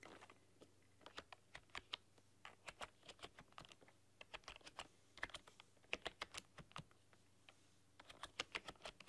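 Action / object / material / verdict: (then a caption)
tap / plastic computer keyboard / plastic / none. Long dark-polished nails and fingertips type on a full-size plastic computer keyboard with black keycaps and a rainbow backlight, pressing and clicking the keys. Quick, bright, dry clicks and taps come in irregular bursts with brief pauses over a quiet, steady low background.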